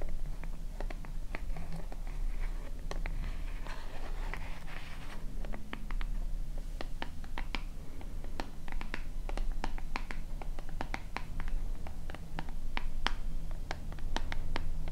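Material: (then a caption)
Plastic. Long nails tap and scratch a small white plastic cosmetic lotion bottle with a purple cap, held in both hands. Many short, sharp clicks sound over a low, steady hum, with softer scratching brushes in between.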